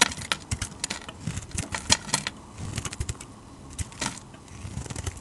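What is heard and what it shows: A utility knife blade shaves flaky curls off a solid, hand-sized bar of dark red translucent glycerin-type soap. Irregular bursts of crisp, bright scraping and crackling come one after another, with soft low thumps underneath.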